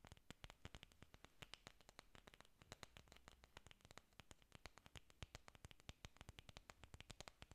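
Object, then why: Artificial orchid leaves of foam or plastic. Long nails scratch and tap a bunch of large green artificial orchid leaves made of foam or plastic, solid and flexible, held close. A quick, steady run of dry, sharp clicks and taps rises over a soft, low, continuous scratching rustle, each tap bright and dying away instantly.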